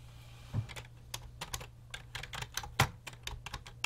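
Fingertips type and tap continuously on the hollow keys of a full-size grey and black plastic computer keyboard resting on a desk. Short, bright plastic clicks come in an uneven rhythm, with a couple of louder, sharper strikes standing out. A steady low hum sits beneath the typing.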